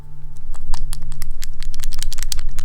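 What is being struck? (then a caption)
Plastic paint dropper bottle with a metal ball bearing. A small, tall plastic paint dropper bottle is shaken, and the metal ball bearing inside rattles, mixing the paint. Quick, bright clicks tick over a steady low hum, starting faint and growing more frequent and dense as the shaking picks up.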